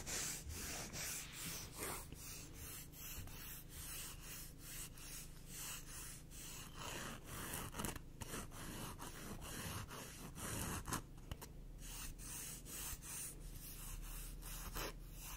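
A black emery board nail file, thin and solid and held in one hand, has its gritty surface rubbed and scratched with long acrylic nails. Repeated rasping strokes produce bright, sandy scratches over a steady low hum, at a quiet, even level throughout.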